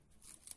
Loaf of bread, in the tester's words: такой румяненький видите слышите хруст